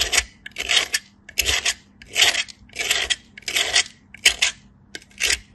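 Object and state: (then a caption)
Soap bar grated on a metal grater. A flat, solid white soap bar is rubbed by hand across a small stainless steel grater in repeated strokes, with powder falling. Each stroke gives a bright, dry grating scrape that stops abruptly, separated by short quiet gaps in a loose, uneven rhythm.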